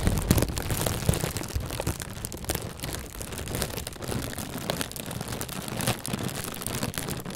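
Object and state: Plastic bag being rustled.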